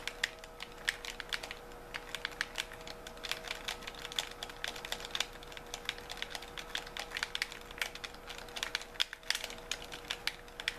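Thumbs tap the buttons and fingers work the triggers of a white handheld plastic gamepad with a hollow shell. This produces a rapid, irregular stream of short, bright plastic clicks with almost no ring. A faint steady hum sits underneath throughout.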